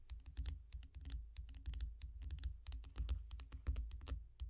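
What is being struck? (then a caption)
Glass tablet screen. Long nails on both hands tap quickly on the glass screen of a small tablet lying flat in a yellow foam bumper. The taps are rapid, uneven and overlapping, each a short, dry, bright click that dies away at once. A steady low rumble sits underneath throughout.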